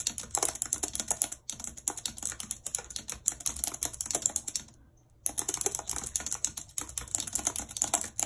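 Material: Plastic.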